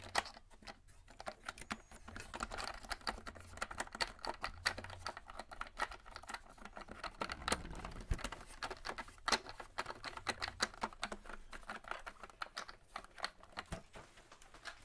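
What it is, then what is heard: Hollow plastic toy spaceship. Fingertips tap and drum quickly on the hull and dome parts of a hollow white-and-yellow hard plastic Star Wars toy starship, about forearm length, held up close. The result is a fast, continuous stream of dry, clicky plastic taps with very little ring, centred in the midrange with a bright edge, rising into a denser flurry around the middle.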